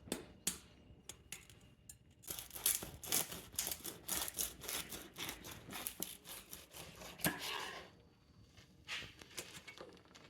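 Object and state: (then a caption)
Crispy roast pork crackling. A knife slices through a rolled porchetta after its final roast at 250 degrees, its crispy pork crackling skin breaking with rapid, sharp crunches and crackles. The bright, dry crunching comes in dense bursts that pause and resume as the blade works through the skin, while the meat inside stays juicy.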